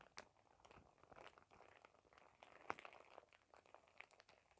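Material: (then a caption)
Thin plastic. A thin, clear, printed plastic shower cap is crumpled into a bunch and crinkled with fingers. The result is a quiet, continuous crinkling and crackling, mostly in the mid range, with a few sharper, brighter crackles standing out, most notably near 0.2, 2.7 and 4 seconds.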